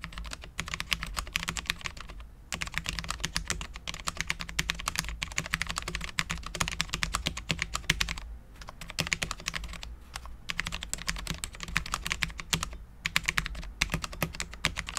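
A full-size Cherry MX10.0 low-profile mechanical keyboard with Cherry LP switches, dark ABS keycaps and a steel plate is typed on continuously with the fingertips of both hands. Rapid, crisp, bright clicky taps blur into a steady clatter, broken by a few short pauses, with a faint low hum underneath.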